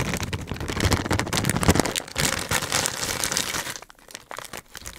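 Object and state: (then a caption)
Plastic candy bag being crinkled. A medium-size green Hershey's plastic film candy bag holding candy is handled and crinkled by fingertips in front of the mic. Dense, sharp crinkling and crackling fills the first four seconds, then thins into quieter, scattered crinkles toward the end.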